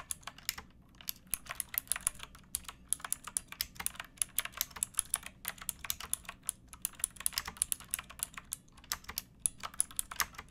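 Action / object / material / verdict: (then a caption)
tap / plastic mechanical keyboard / plastic / none. Both hands type with fingertips and nails on a pink backlit retro mechanical keyboard with plastic keycaps, resting on a wooden book or board among flowers. It makes a steady stream of bright, sharp clicks and clacks with very short decay and a few brief pauses, over a faint low hum.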